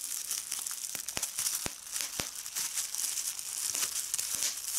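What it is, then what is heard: Plastic bubble wrap being crumpled and popped. A medium piece of clear plastic bubble wrap is crumpled and squeezed by fingers, popping its bubbles. A steady bright crinkling hiss is broken by sharp, short pops that die away almost instantly.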